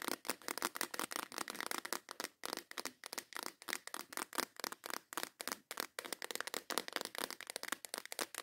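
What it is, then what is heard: Plastic box of nail files, named. Long acrylic nails tap and scratch the lid of a transparent plastic case with snap clasps, full of nail files. Fast, dense clicks and rasping scratches run in quick bursts, bright and dry with no low end. Each sound stops almost at once.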